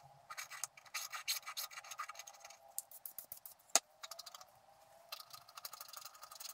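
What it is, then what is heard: Wax-coated scratch art card. A wooden stylus scrapes the black wax coating around a squirrel design on a flat scratch-art card lying on a table, while the other hand steadies the card. The result is a series of bright, rasping scratch strokes in quick bursts, with a single sharper click near the middle and a brief pause before the scraping picks up again.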